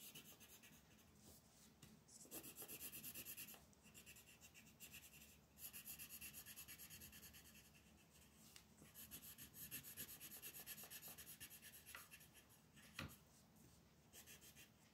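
A magenta wooden colored pencil rubs and rasps across a flat white paper mandala coloring sheet lying on a table. The result is a dry, bright, scratchy shading sound that comes in bursts of quick back-and-forth strokes, with quieter pauses between them and one sharp tick near the end.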